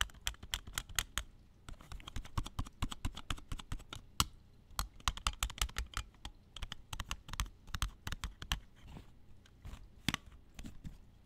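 Fingers tap rapidly and irregularly on plastic video tapes for about eleven seconds. Each tap is a dry, sharp click with a bright edge and a soft low thump underneath, dying away almost instantly. The taps come in quick bursts with brief pauses between them.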